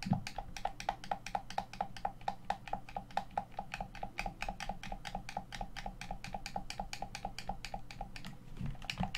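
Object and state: Plastic game controller.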